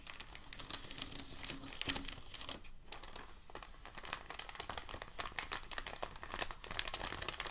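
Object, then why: Sheet of packing paper. A crinkled sheet of white packing paper is held up by both hands at the edges and folded over. It gives a steady stream of dense, bright crinkling and crackling with sharp, quick-dying snaps and little low end.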